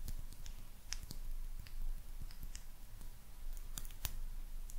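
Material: Glazed ceramic.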